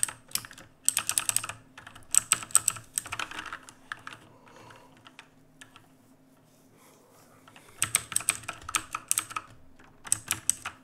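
Fingertips type on a black full-size mechanical keyboard with plastic keycaps, producing bursts of rapid, bright, sharp clicks that stop almost instantly. A quieter stretch in the middle has only a few scattered taps before the fast typing resumes.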